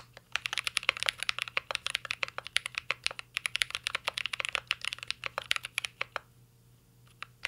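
A mint-green Cyberboard R3 mechanical keyboard with plastic keycaps and a metal case is typed on continuously with the fingertips. A rapid stream of sharp, bright clicky key taps plays, mostly high and crisp with almost no low end. It pauses briefly near the end before a few final taps.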